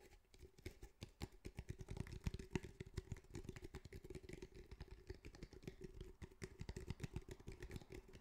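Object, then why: Fabric-covered cylindrical speaker with hard hollow body. Fingertips of both hands tap rapidly on a fabric-covered cylindrical speaker, a grey fabric-mesh cylinder over a hard hollow body, which is at one point tilted and tapped on its side. The result is a steady, dense flurry of short, dull, hollow thumps, mostly low in pitch with very little brightness, over a faint constant hum.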